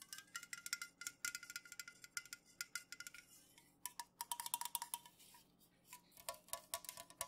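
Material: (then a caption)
Aluminum. Long nails tap quickly on the bottom, rim and body of an unopened, full Pepsi-Cola aluminum can, first held and then laid on its side. Dozens of quiet, bright, clicky taps carry a short metallic ping near 950 Hz, which drops lower toward the end, with brief pauses between bursts.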